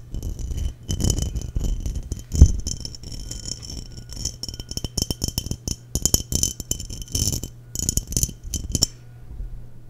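Long nails tap the sides of a clear, hollow, empty glass mason jar with a threaded neck, held in hand near the microphone. Quick, bright clinks and clicky taps come in irregular bursts over a steady low hum, each tap dying away almost at once.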